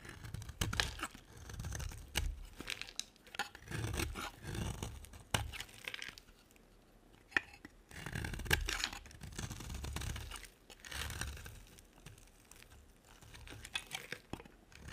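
A utility knife carves and scrapes a solid pink striped bar of soap, producing dry, crunchy scraping and tearing strokes with sharp crackly edges and a low, muffled body. The strokes come in repeated bursts with short quiet pauses between them.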